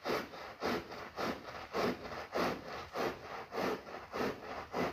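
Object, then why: Wet synthetic pile rug. A long-handled push broom with stiff bristles scrubs back and forth across a soaked, soapy, ladybug-shaped red and black synthetic pile rug lying flat on a tiled floor. It makes a steady, rhythmic series of wet, rasping swishes, about 100 strokes a minute, alternating stronger and weaker pushes, mostly in the mid range.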